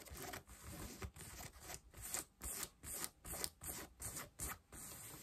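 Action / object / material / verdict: scrape / denim jeans over a knee, scratched with fingernails / denim / none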